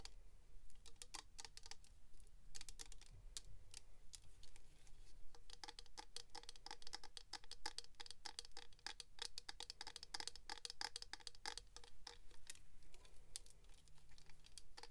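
A small clear hard-plastic box filled with silver glitter, held in both hands, is rapidly tapped with long pink acrylic nails. Quick, crisp clicking taps come in dense, uneven bursts, each one dry and short with a bright edge, over a faint low background rumble throughout.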